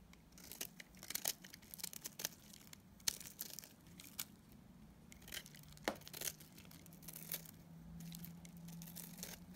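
A metal utility blade cuts flakes off a solid green bar of dried soap in a series of sharp, crisp scraping cuts. Each stroke gives a bright, dry crackle that stops instantly, with short pauses between and a faint low hum underneath.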